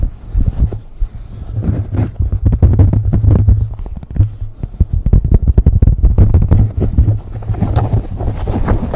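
Fingernails scratch a beige cotton baseball cap placed over a microphone. Fast, rough scratching strokes make a dense, muffled rumble that is almost entirely low, with a droning low tone underneath. The short scrapes blur into a nearly continuous texture that rises and falls throughout.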